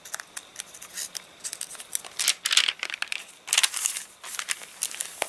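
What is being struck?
Paper catalogue pages.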